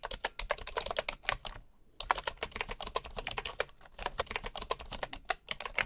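Fingertips of one hand type steadily on a bamboo computer keyboard with wooden keycaps and a hollow housing, an untouched wooden mouse beside it. Quick, dry, bright tapping clicks run in a fast stream, with a brief pause just before the two-second mark before the typing resumes.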